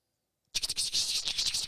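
A prototype 3D-printed plastic pencil-popper fishing plug containing two rattles is shaken, and its rattles are heard clearly. After about half a second of silence, a fast run of bright, high-pitched clicks and rattles fills the rest of the clip.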